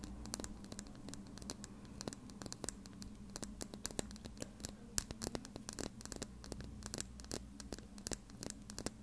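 Long red nails scratch and tap a small, slim plastic lip gloss tube with a black cap, held horizontally and filled with gloss. The result is a rapid, uneven stream of sharp, dry clicks and scratchy ticks that die away almost instantly, over a steady low hum.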